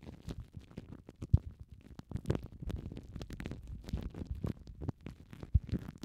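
Both hands crinkle and squeeze clear, thin plastic cling film wrapped around two small foam mic windshields, using fingertips and long nails. The result is a dense stream of short, muffled crackles and soft pops, heavy in low rumbling tones with a few louder thumps standing out.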